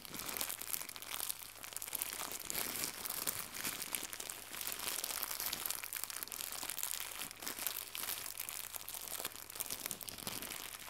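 Fingertips with red nails crumple a small white crinkly plastic gift bow, then stretch it flat. A steady, dense, bright crinkling and crackling runs throughout at a low level, with almost no low end.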